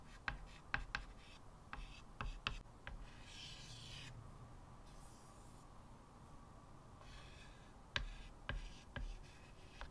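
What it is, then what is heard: Chalk drawing on a wood-framed chalkboard. Fingertips drag a short piece of white chalk across a flat blackboard set in a wooden frame, making rubbing, scratching line strokes. Sharp clicks as the chalk meets the board open and close the clip, and a quieter, bright, dry scratching hiss sustains through the middle.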